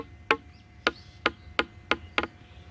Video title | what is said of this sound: 🏡প্রিকাস্ট ওয়ালের শব্দ পরীক্ষা। #precastwall #riarconcrete | এ শব্দটি অনেক টনটনে একটা শব্দ। তবে এই শব্দটি তখনই পাবেন যখন এটা শুকে যাবে